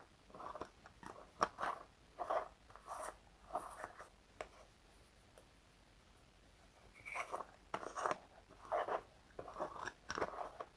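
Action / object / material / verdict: scrape / small plastic jar / plastic / none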